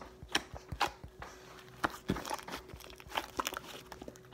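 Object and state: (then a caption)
Fluffy slime being patted and folded. Fingertips pat, poke and fold a mass of white fluffy slime resting on a table. Quiet, close squelches and sticky crackling pops come in irregular bursts, with brief airy crinkles between them. The clip ends on one sharper, brighter pop.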